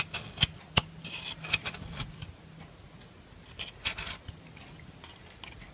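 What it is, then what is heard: Bar soap being filed. A solid white rectangular bar of soap, held in hand, is scraped along its edge with a black metal nail file, shaving off white powder. Dry, bright rasping strokes come in an irregular rhythm, with a few sharp ticks standing out above a soft, faint scratchy bed.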